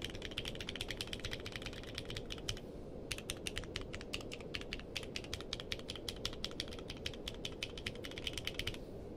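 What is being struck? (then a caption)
Mechanical keyboard with plastic keycaps. Fingertips type steadily on a compact mechanical keyboard with a purple case and white and dark plastic keycaps, resting on a blanket. Dozens of quick, bright clacking keystrokes come in an even stream, with a brief pause just before the three-second mark. A steady low rumble runs underneath throughout.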